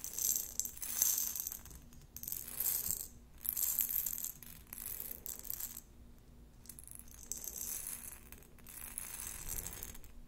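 A glass jar with a metal lid, partly filled with round plastic beads, is tapped with long nails on its glass sides and tilted. Bright, high clicking and rattling come in uneven bursts as the beads shift and roll against the glass, separated by quieter stretches. A faint steady low hum runs underneath throughout.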